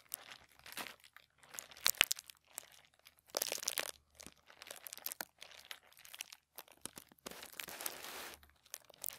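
Fingertips of both hands rub and scratch a crinkled sheet of thin white tissue paper lying flat on a table. The result is soft, bright crinkling and rustling in short, irregular bursts separated by brief pauses, with almost no low end.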